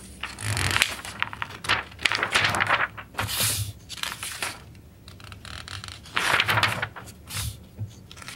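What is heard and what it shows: Bare fingertips and a palm rub across the printed pages of an open glossy paper magazine, the August 1991 edition of Electronic Musician, lying flat on a wooden table, then the pages are turned by hand. Bright, papery scraping and crinkling come in uneven bursts with quieter gaps between them, and each rustle stops quickly with almost no ring.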